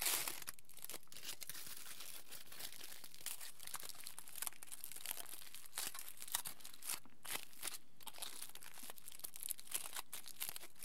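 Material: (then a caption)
Aluminium foil. A small crumpled piece of aluminium foil is squeezed, twisted and folded by the fingertips of both hands. It gives a steady, quiet stream of bright, crisp crinkling and crackling with frequent sharper snaps, and no voices.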